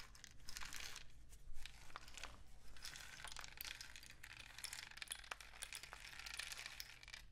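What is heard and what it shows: A painted cardboard rain stick, a long hollow tube with a mesh-wrapped end and filled with pellets, is held diagonally by the fingers and tilted. Pellets trickle through it in a steady bright, crackling patter of many small clicks, with a low hum underneath.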